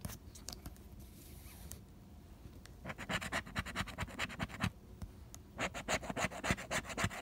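A pink plastic scraper scratches the latex coating off a single flat cardstock lottery scratch-off ticket held down by fingertips, progressively revealing numbers. Faint, scattered scratches give way to two bursts of rapid, bright, raspy scraping strokes, separated by a brief quieter pause.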